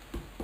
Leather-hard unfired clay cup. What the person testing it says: I'll be able to hear the hollow of it as it gets closer and I think it's pretty pretty stiff right here